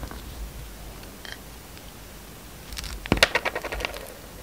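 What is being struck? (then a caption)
Bar of soap cut with a blade. A utility knife blade slices through a solid, hand-sized white bar soap with a green-black glitter rim, held in the palm. After a quiet stretch, a soft scraping builds into a run of crisp, bright crackles and sharp snapping clicks as the slices break away, then fades out.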